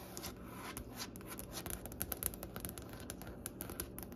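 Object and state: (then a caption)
Wooden butcher-block desk. Long nails tap and scratch across the large, solid, striped-grain wooden top of a butcher-block desk. The result is a quiet stream of quick, crisp clicks with bright, dry edges, mixed with soft scraping over a faint low rumble.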